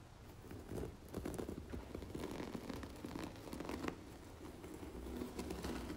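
Long natural nails tap and scratch the front cover of a large red embossed cloth-covered hardcover book lying flat on a marble surface. The result is a quiet, steady stream of soft dry taps and papery scratching with a low, muffled body and some brighter crackle on top.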